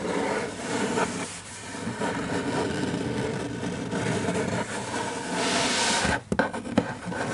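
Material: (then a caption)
Paper. Fingertips rub and trace over the illustration of a large open hardcover children's picture book, and a paper page is turned by hand. Steady dry scraping and rustling run throughout, swelling into a brighter, louder swish near the end before a brief drop and a few soft taps.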